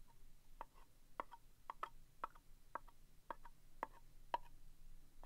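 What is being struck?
Small round cardboard box.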